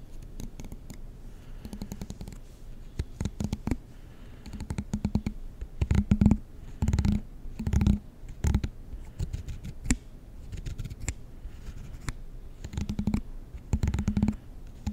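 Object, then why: Plastic comb. The long teeth of a black plastic comb are flicked with a fingertip and nail, producing rapid clusters of short, dry clicks and ticks. The bursts come in uneven runs with brief pauses, each flick dying away almost instantly and carrying a soft, low-pitched buzz around 220 Hz.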